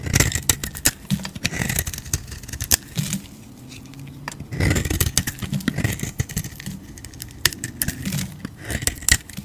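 A utility knife blade carves into a solid oval bar of soap with a purple outer coating and a cream interior, held in the hand, scraping off flakes. The sound is dense, crisp scraping and crackling with sharp, bright cutting strokes over a soft low rumble. A quieter lull in the middle separates the bursts of carving.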